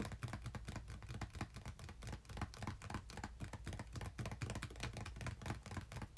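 Fingertips tap and scratch the top of a small, closed, red printed cardboard game-console box resting on a bed, and the hands lift off near the end. A dense run of quick, dull, dry taps with soft scratching plays throughout. The sound is mostly low and muffled, with little brightness.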